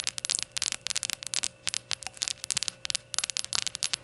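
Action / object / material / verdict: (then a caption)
tap / glazed ceramic shot glass / ceramic / none. Long gold nails tap rapidly all around a small, hollow, glazed ceramic rainbow shot glass standing upright on a towel. Each tap is a short, bright, crisp click that dies away almost instantly. A faint steady hum sits underneath.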